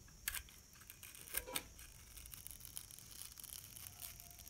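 A metal utility knife blade shaves a thin slice off the surface of a solid green striped bar of soap resting on an open palm. Quiet, bright, crisp scraping is punctuated by a few sharper ticks, over a soft, steady hiss.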